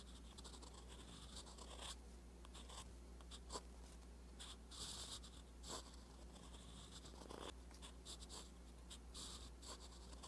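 A metal fountain pen nib scratches across a flat page of a spiral-bound paper notebook while writing Korean letters. Soft, bright scratchy strokes come in short bursts over a low, steady hum.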